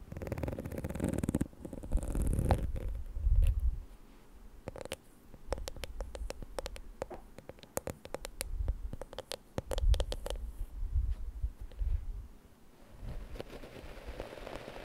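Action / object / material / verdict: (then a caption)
tap / plastic hair brush shell / plastic / none. Long nails tap and scratch the pink hollow plastic shell of a detangler hair brush while it is held, then the brush is set down on a cloth. The sound is close and bass-heavy, with dull rubbing scratches and a quick run of sharp clicking taps in the middle. It ends with a soft, muffled rustle.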